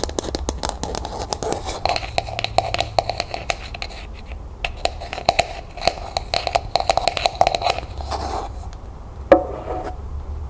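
Long nails rapidly tap and scratch the surface of a small hollow matte pink plastic cup as it is held and then set upside down. The result is a dense stream of short, dry clicks with a hollow midrange ring, mixed with bright scratchy rasps over a faint low hum. A sharper, louder knock lands near the end.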